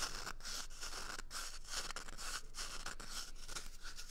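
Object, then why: Cardboard toilet paper tube. A small, empty, hollow brown cardboard toilet paper tube held at the microphone ears is scratched and squeezed with fingers and nails. The result is a steady run of dry, bright scratching and crinkling bursts that swell and fade in an uneven rhythm, with little low-end body.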